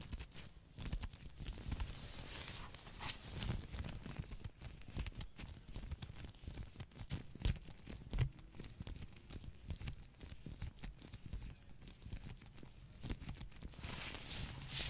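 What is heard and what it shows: Latex-gloved fingertips tap and scratch on the cover art of a small, hollow plastic Pokémon Sword Switch game case held close to the mic. The result is a quiet, continuous stream of soft, dull taps and scratchy rustling, heavy in low tones, with each tap dying away quickly. A few sharper, louder taps stand out around 7.5 and 8.2 seconds.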